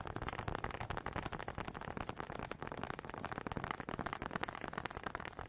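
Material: Wood.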